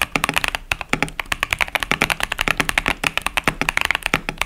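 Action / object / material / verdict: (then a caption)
tap / plastic mechanical keyboard with plastic keycaps / plastic / none. Fingertips type continuously on a 65% plastic mechanical keyboard, a KBD67 Lite with Boba U4T tactile switches and pastel plastic keycaps. About three dozen quick, dry clacks come in a steady stream, each bright and sharp with almost no low thump and no ring. Each click dies away at once.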